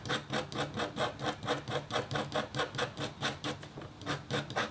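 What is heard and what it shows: A metal-tipped stylus scratches a thin, solid, flat copper foil scratch art board with a black coating. About twenty quick, bright, raspy strokes follow one another at a steady back-and-forth rhythm, each with a short dry tail.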